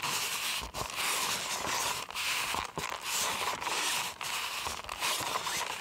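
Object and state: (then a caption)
Styrofoam cup. A white styrofoam cup is held sideways in one hand while its hollow side is squeezed and rubbed with the fingers and nails. This makes a near-continuous stream of squeaky, crinkly friction, bright and hissy with a faint squeal near 1 kHz, broken by a few brief pauses between strokes.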